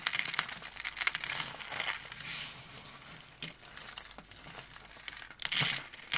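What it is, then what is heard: Dry, brittle soap rose. Both hands squeeze and crush a hand-sized, carved, blue-and-white dry soap rose, solid with thin layered petals, into brittle flakes, then rub the flakes between the fingers. The sound is a dense, bright, dry crunching and crackling made of many quick snaps, with almost no low end and a few louder crunch bursts.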